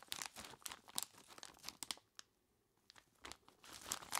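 Two bare hands squeeze and rub a large clear plastic bag full of ice cubes, making bright, crunchy crinkles and sharp crackles. Irregular bursts come in dense clusters, fall to near silence for about half a second partway through, then pick up again.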